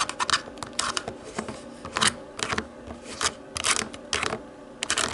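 Long nails tap irregularly on the buttons of a small, hollow, black plastic DVD remote control, which is then flipped over to its textured plastic back. The taps come in uneven clusters of bright, crisp plastic clicks that die away almost instantly, with quieter scratchy rustling between bursts and little low end.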